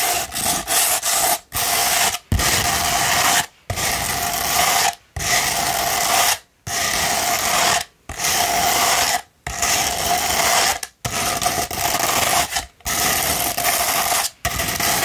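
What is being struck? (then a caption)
Rolled sandpaper sheet. Long pointed nails scratch along the gritty surface of a hollow, rolled sandpaper tube. The result is a dense, bright, rasping scrape, repeated in long strokes separated by brief silent pauses.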